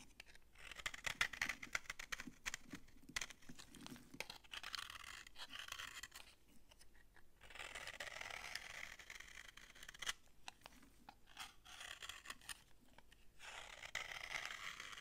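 A utility knife blade scrapes crunchy shavings off a solid, dry orange bar of soap held in the hand. Dense, bright, crackling scraping comes in bursts separated by short pauses.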